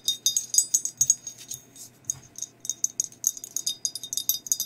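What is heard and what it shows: Long nails tap and scratch a hollow, empty glazed ceramic skeleton mug held close to the mic. Quick, bright clicks and ticks come in dense bursts, with brief scratchy rasps between them and very short ring after each tap.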